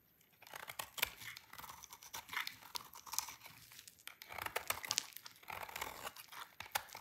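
A utility knife blade shaves a solid, dry red-orange soap bar into crunchy shreds. Quiet, dense, crisp crunching and scraping with rapid clicky bursts, bright and airy with almost no low end. It builds after a short silent start and continues unevenly to the end.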